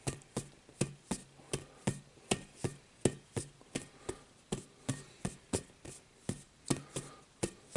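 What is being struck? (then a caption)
Inflated rubber playground ball. A rainbow-coloured, inflated, hollow rubber playground ball about the size of a volleyball is held in both hands and tapped with the fingertips. About 22 short, dull, hollow thumps come at an uneven pace, each with a low body around 370 Hz and almost no ring.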